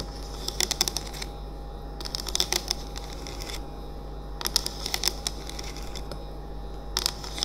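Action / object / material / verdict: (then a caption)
tap / plastic essential oil diffuser / plastic / none. A hand-sized, hollow, cylindrical bamboo-look essential oil diffuser with a plastic lid sits running and lit on a wooden table. It is tapped on its sides with the fingertips and nails of both hands in four quick bursts of bright, dry clicks over a steady low hum and faint hiss.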